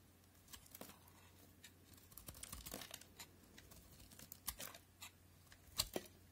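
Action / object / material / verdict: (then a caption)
scrape / bar of soap / soap / none. A solid white soap bar, from a set of NC, Linom and FAX white soaps, is held in the fingers while a utility knife blade scrapes and cuts off crumbly layers. The sound is quiet, bright, dry scraping and crackling in short irregular bursts, with a few sharper snaps as pieces break away over a faint steady low hum.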